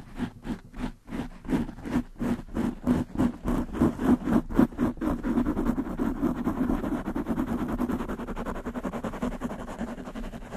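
Long nails of both hands scratch very fast on a black foam windscreen covering a desktop microphone. Separate, rhythmic, muffled scratching strokes come first, then speed up and blur into a steady, dense rustle. The sound stays low and soft, centered in the low-mid range with little brightness.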